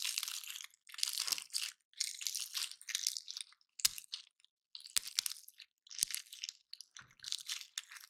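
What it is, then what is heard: Painted pine cone being picked apart. A dry, solid, woody pine cone painted silver, about hand-sized, is held in both hands while fingertips and nails pick at its scales, scratching and snapping them off; other cones nearby are left untouched. Bursts of bright, crisp crunching and crackling scratches come in short clusters separated by brief silences, punctuated by sharp, dry snaps with almost no low end.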